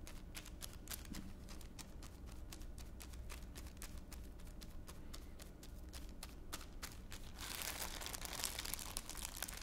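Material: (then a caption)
Plastic. A thin clear plastic bag lying on one palm is pressed and crinkled with the fingertips of the other hand. It makes a steady run of sharp, bright crackles over a low background hum. Near the end, the crinkling turns into a louder, denser rustle.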